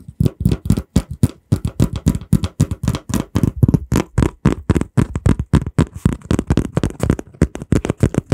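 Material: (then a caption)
Cardboard. Fingertips squeeze, flex and tap a small, flat piece of brown kraft cardboard, folded and taped across the middle and held in both hands close to the microphone. About 44 quick, irregular dull taps and soft crinkles follow one another. The sound is low and thuddy, with no ring after each hit.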